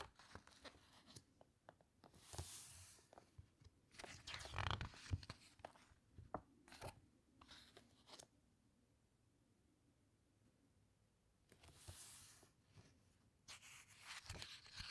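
Fingertips and long painted nails press, rub and squeeze the thick glossy coated pages of a large hardcover coffee-table book about shipwrecks flat as it lies open on a table, then turn them. Quiet, irregular crinkles, taps and papery rubbing alternate with louder, bright swishing sweeps as pages turn. Near-silent pauses fall between the bursts.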